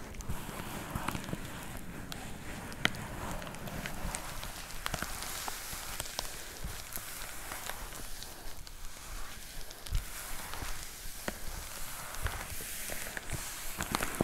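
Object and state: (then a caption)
Plastic poly mailer package. Long nails tap and scratch across the surface of a white plastic poly mailer with a box inside. A steady, quiet crinkling rustle runs throughout, broken by a few sharp, dry taps that stop instantly without ringing.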